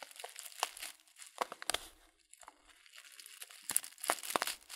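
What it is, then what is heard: Paper tea packet being crinkled. Fingertips squeeze and crinkle a hand-sized Teekanne loose-leaf tea packet made of kraft-style paper and filled with tea. Dry, bright crackles and rustles come in uneven bursts with no low end, pausing briefly to a softer rustle midway before the sharp crinkling picks up again.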